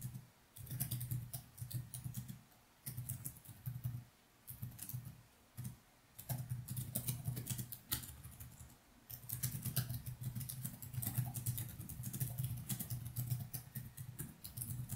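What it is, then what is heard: Plastic laptop keyboard. Fingertips of both hands type continuously on the plastic keys of a laptop keyboard, with no other object touched. Quick, soft clicks run in bursts separated by brief pauses, carrying a low body near 125 Hz and bright, sharp key ticks.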